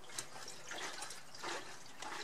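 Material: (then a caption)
Fuel. Fuel sloshes inside a motorcycle's tank as the rear of the bike is lifted by the passenger foot bracket and rocked. Soft, watery splashing comes in several surges, with no hard knocks. The tank audibly holds liquid fuel.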